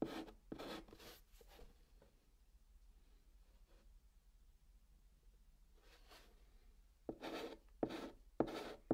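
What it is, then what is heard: Chalk scratching on cardboard. A white chalk stick writes on the flat top of a brown cardboard box, scratching out text in short, dry bursts. A few quick strokes open the clip, then a long quiet stretch follows with faint rubbing. Another run of louder, brighter scratches comes at the end.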